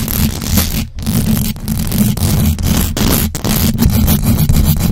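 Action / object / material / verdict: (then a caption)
scrape / metal mesh microphone grille / metal mesh / none. A large black USB microphone's hollow metal mesh grille is scratched fast by the long acrylic nails of both hands. The result is a dense, continuous rasping scrape with heavy low rumble, bright hiss on top, and only brief dips between strokes.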